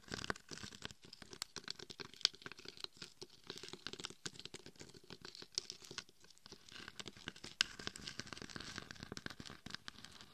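Long nails and fingertips scratch and tap the coarse gold and red glitter coating of a hollow mannequin head microphone. The result is a dense, quiet patter of sharp, crackly clicks that are mostly bright and high, with no talking.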